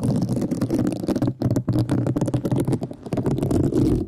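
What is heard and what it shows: A flat, rectangular pink woven synthetic scouring pad with a bound edge, thin and solid, is held in one hand with long nails and scratched with a thin black brush-tipped stick, likely a mascara wand. The result is a dense, rapid, crackly scratching with a low-mid body, pausing briefly a couple of times before continuing steadily to the end.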